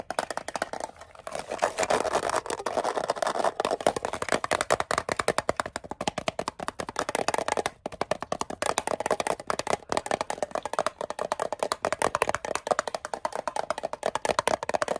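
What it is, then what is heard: Metal mint tin. Fingernails tap quickly on the lid and sides of a small, hollow, closed, rectangular green-and-white metal Altoids spearmint tin held in both hands. The result is a dense, continuous stream of sharp, short clicks with a hollow metallic ring centered near 680 Hz. The taps come too fast and close together to count.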